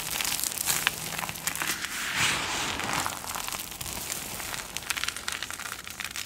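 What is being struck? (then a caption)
Pile of soap flakes. Flat palms and fingers press down, rub, and crunch through a heap of multicolored dry soap flakes on a dark surface. A steady stream of bright, dry crackling and crinkling crunches is heard, with sharp grainy snaps scattered throughout and a slightly louder rubbing swell in the middle. The crumbs break and grind down under the hands.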